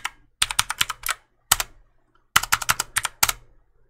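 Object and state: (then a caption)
Plastic mechanical keyboard keys clicking. Fingertips repeatedly press and click the keys of a black plastic mechanical keyboard held vertically beside the mic. About eighteen sharp, bright clicks arrive in four quick bursts separated by short silences, each dying away almost instantly with little low end.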